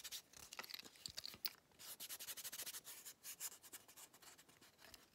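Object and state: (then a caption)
Wooden ruler wrapped in tape, scratched. A long, flat, solid wooden ruler, partly wrapped in blue painter's tape and held in both hands, is scratched and rubbed with fingertips and nails along its face and edge. The result is a quiet, dry run of bright, papery scratching strokes. Each stroke is short and crisp and has almost no low end.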